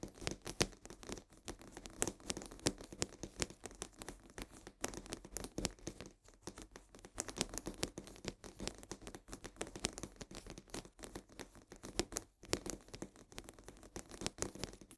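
Long nails rapidly scratch the sides of a full cardboard box of coarse salt held upright. A dense, continuous run of dry, crackly scratches and quick taps fills the clip, bright and papery with a faint low rumble underneath. Each stroke dies almost instantly, with brief pauses near the 6-second and 12-second marks.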